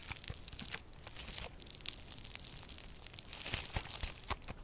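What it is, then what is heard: Crunchy foam slime. A hand-sized, solid lump of yellow crunchy slime with a foam-bead texture is kneaded and squeezed between both hands with long purple nails. The foam beads give off a dense run of sharp, bright crackles and pops, like crinkling and tearing, over a soft low rumble of handling.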